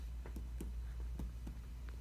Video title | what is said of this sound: Auscultation Review 3 | you hear a hollow sound, tympanic sound